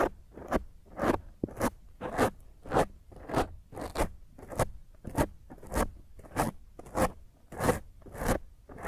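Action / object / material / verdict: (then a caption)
scrape / foam microphone windscreen / foam / none. Long nails on one hand scratch and claw at a black foam windscreen over a microphone. Close, crunchy rasping strokes repeat at a fairly steady pace of roughly one every half second, each a bright, scratchy burst with a low rumble beneath, separated by short quiet gaps.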